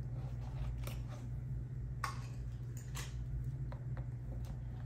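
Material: Vinyl.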